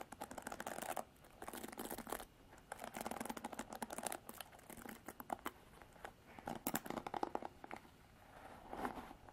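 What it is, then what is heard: Plastic paddle hairbrush. Long artificial nails scratch through the black bristles of a plastic-bodied paddle hairbrush. The result is dense, crackly bursts of scratching, centered in the midrange with bright edges, separated by brief quiet pauses.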